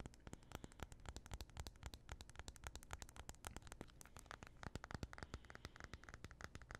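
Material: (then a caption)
Aluminum. A small, thin, solid white-and-gold aluminum iPhone is held in both hands while fingernails scratch and tap along its back and edges. Quick, irregular, sharp clicks with very short decay sound over a soft, low scratchy rumble, with faint bright crackle throughout.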